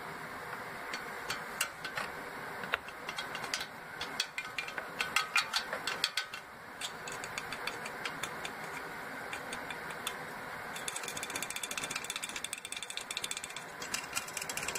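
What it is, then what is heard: Full aluminium soda cans tapped on top. The tops of a 12-pack of full red aluminum Coca-Cola cans in an open cardboard box are tapped with a pencil, then with fingertips and nails. Sharp, bright clicks and ticks with almost no low end come in uneven bursts, each dying away almost instantly. Near the end they turn into a faster, denser patter of light, crisp taps.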